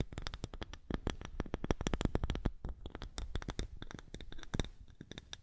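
Long nails rapidly scratch a small, thick, round polished wooden disc held in front of the microphone. The result is a dense stream of short, dry scratching clicks with a heavy low-end thump and faint bright edges.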